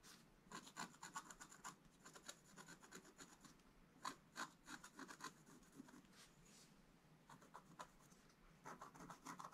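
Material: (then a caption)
Coated paper. A wooden stylus scratches many short, quick strokes across a black coated scratch-art card in a book. It makes dry, rasping scrapes with a bright, papery hiss, coming in clustered bursts with brief quieter pauses between them.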